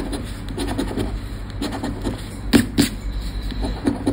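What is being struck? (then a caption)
Paper scratch card scraped with a plastic scratcher. A thin paper Sorte Neon lottery scratch card, about credit-card size, lies on black cloth, held down by fingertips while the coated play area is scratched with the edge of a round red plastic scratcher disc. Repeated short scratching strokes rasp and scrape over a low background rumble, with two stronger, brighter scrapes standing out partway through.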